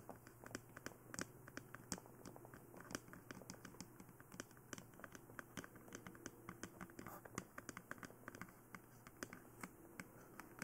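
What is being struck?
Hard plastic dummy head.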